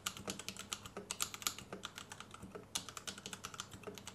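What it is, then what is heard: Plastic mechanical keyboard. A white compact plastic Royal Kludge RK71 mechanical keyboard with Gateron Red switches and RGB underglow is typed on with the fingertips of both hands as it rests on a desk mat. About 33 quick, bright, clacky keystrokes follow one another in a steady run, each dying out almost instantly with little low end.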